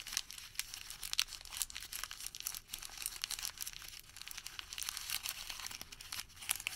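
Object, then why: Thermal paper receipt. Fingertips fold and crumple a Home Depot thermal paper receipt into a wad. A quiet, steady stream of bright, dry crinkles and crackles runs throughout, with sharp snaps popping out of the rustle. There is almost no low end and no ringing after each crackle.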